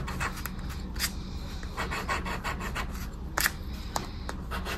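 A small, thin, flat paper scratch card (10X) rests on dark fabric, held down by fingertips while a dark, round, coin-like scraper rubs and scratches off its coating. Short, dry scraping strokes with bright edges sound over a steady low hum, leaving scratch-off debris.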